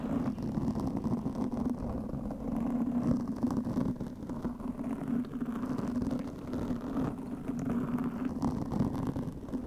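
Long fingernails of both hands scratch a black foam microphone windscreen made of soft, porous foam. The result is a steady, muffled, dense scratching rumble with a strong low-mid tonal band and almost no bright highs. The level stays fairly even throughout.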